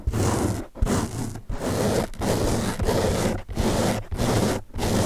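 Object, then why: Open-cell foam sponge. Fingertips scratch the top surface of a large blue open-cell foam car sponge held in the other hand, making dry, rough scratching strokes. The sound comes in steady repeated bursts with brief pauses between them, mostly low and dull with little brightness.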